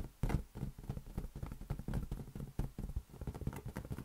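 A large, hollow, inflated green latex balloon, held in one hand, is tapped with the fingertips of the other hand. It gives a quick, uneven series of soft, deep, hollow thumps that are dry and die away almost at once, with almost no high or bright content.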